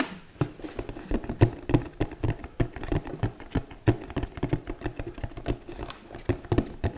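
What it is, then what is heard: Cardboard gift box tapped. Long nails tap quickly and unevenly on a flat, rectangular, hollow red cardboard gift box with a glittery textured surface, held in the hand. Each tap is a short, dull, hollow knock, mostly low in pitch, that dies away almost at once, with some taps louder than others.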